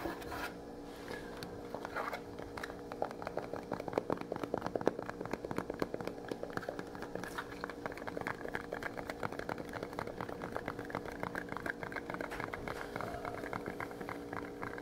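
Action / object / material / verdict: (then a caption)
scrape / small metal spice tin / metal / none. Fingernails rapidly scratch and tap the sides of a small, closed, rectangular printed metal paprika tin with a red lid, held in both hands and apparently partly full. The result is a dense stream of quick, dry clicks and scratchy crackles with almost no ring, over a faint steady hum.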